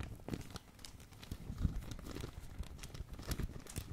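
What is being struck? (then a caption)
Plastic packaging bag. A medium glossy black, blue and red plastic packaging bag is crumpled and crinkled by hand. Close, steady crackling and rustling with a heavy low rumble and scattered bright crinkles runs throughout, swelling to a louder crunch midway.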